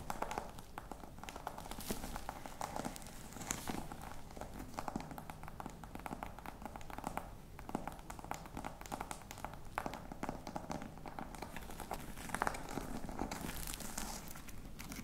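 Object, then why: Embossed faux leather box. Fingernails scratch the textured front of a flat, hollow black box covered in embossed faux-crocodile leather. The sound is a quiet, continuous stream of rapid, dry scratches and tiny clicks, with a soft hollow body underneath and very little ring after each stroke.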